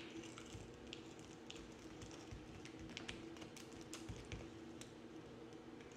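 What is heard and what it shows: A yellow-handled box cutter blade scrapes and carves flakes from a hand-sized, pale green solid bar of soap with a blue rim, held in the palm. Quiet, crisp scratching and clicking taps with bright edges repeat steadily throughout, over a constant low hum.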